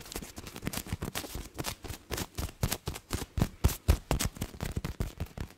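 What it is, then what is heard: Plush fabric toy being scratched. A hand-sized, soft-filled stuffed hedgehog toy with a yellow face and grey fleece top is held against the microphone while fingertips and nails scratch and rub its fabric. The result is a rapid, irregular run of short, muffled scratching strokes, heavy and thumpy in the low end, with faint bright fabric rasp on each stroke.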